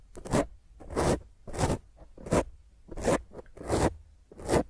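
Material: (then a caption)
Foam. A black foam microphone windscreen is gripped and scratched with the long nails of both hands. The result is a series of rough, crackling scratch bursts that swell and fade at a loose, uneven rhythm, with a muffled low rumble beneath bright, hissy rasping.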